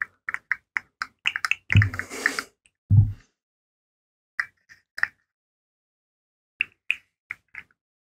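A hand-sized rainbow plastic fidget slug made of hollow segmented rings is held up, flexed and shaken so its segments click against each other. Short, sharp, bright clicks come in quick irregular bursts, broken by two heavier rattling clatters with a low thump before the clicking thins out into sparse taps. Each click stops almost instantly.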